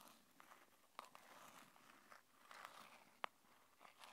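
Long painted nails tap and scratch the sides of a small, hollow, printed red-and-white cardboard earphone box held in both hands. Soft, dry scratching and crinkling runs throughout, broken by a few sharp, bright taps that stop instantly with no ring. The whole clip is quiet.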